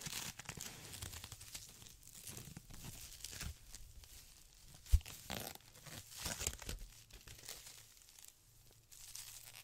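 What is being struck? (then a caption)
Polyethylene foam packaging sheet. A white polyethylene foam packaging sheet, rolled into a thick tube, is squeezed, twisted and rubbed with both hands. It makes a steady stream of soft crinkling, crunching and tearing-like rustles with bright hiss and low rumbling handling noise. One sharp, louder snap stands out about halfway through.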